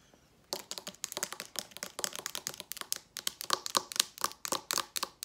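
A hollow blue Maui plastic hair oil spray bottle with a gold cap is tapped and rubbed with long nails on its body and cap. After half a second of quiet, about 27 quick, bright, dry clicks and taps follow in a fast, uneven rhythm, with no ring after each one.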